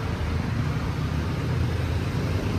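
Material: Nothing is struck.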